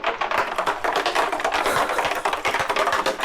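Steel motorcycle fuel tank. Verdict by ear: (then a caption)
Loose. A removed steel fuel tank from a Yamaha FS1 motorcycle is shaken, and a loose object clatters around inside with rapid, continuous bright metallic rattling and almost no low end. The object turned out to be a large stone trapped in the tank, which should not be there.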